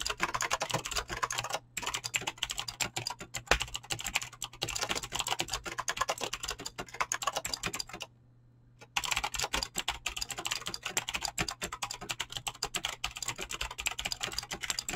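Fingertips with short painted nails type fast on a full-size mechanical keyboard with Razer green clicky switches and pink-blue PBT plastic keycaps, resting on a desk. A dense, bright stream of crisp clicks and clacks runs over a faint low hum, with a brief gap near 1.7 seconds. The typing stops for about a second around 8 seconds, then resumes at the same rapid pace.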